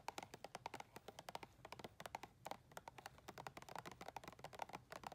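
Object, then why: Plastic tub. Long red nails tap quickly on the side wall and ridged rim of a round, clear plastic tub filled with white soft items. About three dozen short, dry, hollow plastic clicks come in an uneven rapid stream, each centred near 840 Hz with a bright edge. Every tap dies away almost instantly, with little low end.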